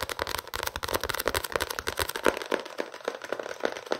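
A small paperback novel with a paper and card cover is held up and tapped and scratched with fingertips and nails. Quick, dry, papery taps come in a rapid, uneven patter, mixed with soft scratching across the cover and a faint hollow knock in the low mids. Each tap dies away almost at once.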